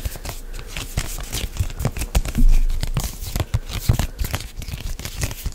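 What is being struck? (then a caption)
Plastic lotion pump bottle. A medium white plastic CeraVe moisturizing lotion pump bottle, hollow and apparently filled, is gripped and rubbed with fingertips and nails close to the microphone. The result is a continuous scratchy, crinkling friction with a tearing quality, punctuated by soft low thumps and a louder swell near the middle.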